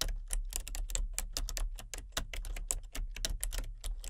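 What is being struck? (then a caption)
Plastic computer keyboard. Fingertips with long painted nails tap away at a full-size, hollow-bodied plastic computer keyboard with color-changing backlit keys. The typing comes as a quick, uneven run of short, bright clicks over a steady low hum.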